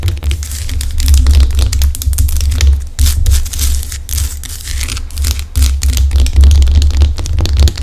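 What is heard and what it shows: Long acrylic nails rub and scratch across the rough surface of a large, solid pink Himalayan rock salt lamp. The result is a dense, crackly scratching with bright, grainy highs over a strong low rumble, swelling and easing in uneven strokes.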